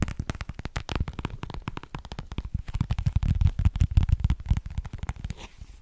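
A small, hollow, rectangular iridescent holographic plastic case, held in the hands, is tapped and scratched with long painted nails. The result is a rapid, uneven run of dull, low, hollow taps with almost no ring, mixed with light scratchy rasps, growing louder in the middle before easing off.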